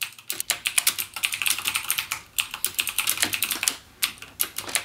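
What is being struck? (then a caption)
Plastic mechanical keyboard. Fingertips type continuously with rapid key presses on a backlit full-size mechanical gaming keyboard with Cherry MX Blue switches and plastic keycaps, lying flat on a dark desk. A fast, steady stream of sharp, bright plastic clicks with almost no ring is heard, with a couple of brief gaps between bursts.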